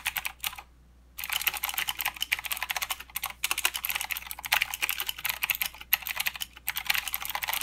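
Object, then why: Mechanical keyboard with plastic keycaps. Fingertips of both hands type continuously on a full-size mechanical keyboard with plastic keycaps and blue clicky switches. A rapid stream of sharp, bright clicks and clacks is broken by a brief silent pause near the start. The typing then resumes at a steady, busy pace with a few short gaps.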